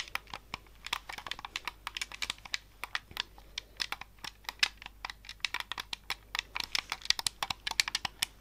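Fingertips click the buttons, thumbsticks and triggers of a hollow, handheld white plastic Xbox-style game controller held in both hands close to the microphone. A rapid, uneven run of dozens of sharp, bright plastic clicks, each dying away almost instantly, with almost no low end.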